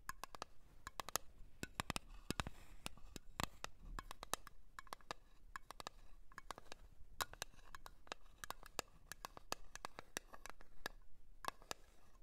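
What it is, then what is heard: Cream jar. A blue cream jar is tapped over and over with quick, irregular light taps. Each tap is a short, dry click with a brief bright ring and almost no decay, over a soft low background.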